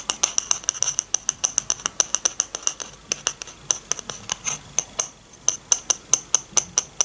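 Long painted nails scratch and rub across the underside of a small, shallow, empty bamboo dish held in one hand. About 39 quick, bright clicks and scratches come in a steady run with a brief lull near the five-second mark. Each one is dry and high-pitched and dies away almost instantly.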